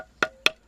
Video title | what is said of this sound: Mission de Compagnonnage Artisanal GABON | on se rend compte qu'il y a plus de sable